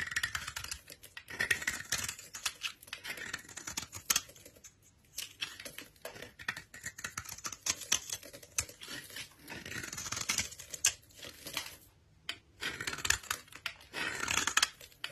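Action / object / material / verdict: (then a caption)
scrape / bar of soap / soap / none. A solid rectangular bar of pale cream soap, held in a hand with long red nails, is scraped and shaved with a utility knife blade, curling off flakes. Quiet, crisp, bright scraping and shaving sounds come in quick strokes, with brief pauses around 5 and 12 seconds.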